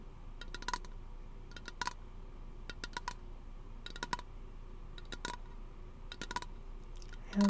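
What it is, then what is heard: Aluminium aerosol can tapped with fingernails. A small, hollow teal aluminum aerosol lotion can is held close and tapped with fingernails, giving clusters of light, bright metallic ticks with a faint ring near 1 kHz over a quiet background. The tapping comes in small groups spread evenly through the clip, ending in a brief, louder low tone.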